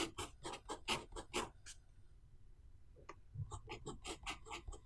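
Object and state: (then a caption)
Pen writing on paper. A blue pen writes small Chinese characters near the bottom of the right page of an open paper notebook resting on a wooden table. Its tip scratches and strokes the paper in short, bright, papery bursts, with a quieter pause in the middle before the strokes resume.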